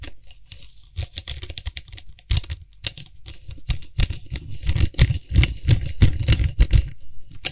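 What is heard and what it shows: Fingertips and nails tap and scratch the white hollow plastic cap of a Lysol aerosol spray can while the cap is gripped and twisted. Quick, irregular dry clicks and soft low thumps patter along with scratchy rasps. The tapping grows louder and denser in the second half.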